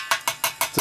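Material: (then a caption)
Steel. Five short, solid knocks are struck on the upper water side of a steel boiler expansion tank, each dying away quickly with a dull ring around 1.1 kHz. Compared with the hollow-sounding air side below, this solid sound shows the bladder is intact and the tank is still good.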